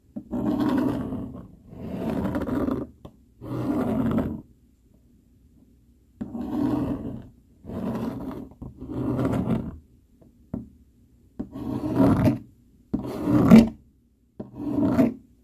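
A dark plastic fork held in the fingers has its tines scraped back and forth over a flat brown cardboard sheet. It makes a series of rough, raspy scraping strokes separated by short pauses, with most of the energy in the low and middle range and little brightness.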